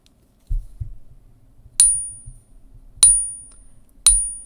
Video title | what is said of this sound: With Silver Exploding Watch Out For THIS Major Threat! | It just has a dead highpitched ring sound. Nothing like silver.